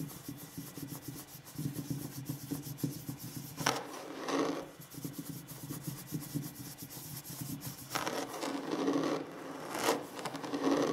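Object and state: Wooden table surface.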